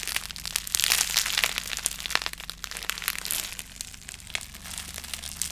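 A clear plastic bubble wrap sheet with small, hollow, air-filled bubbles is held and twisted in both hands near the microphone while fingertips crumple it and pop the bubbles. Bright, dense crinkling and crackling fills the clip, broken by sharp, quick-fading pops at an irregular pace.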